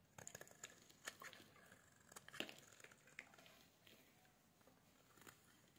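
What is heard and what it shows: A solid pink bar of soap, held in a hand with black nail polish, is shaved with a metal blade. It gives quiet, crisp scraping and crumbly crackles with sharp ticks scattered throughout. The sound is mostly bright and high with little low end.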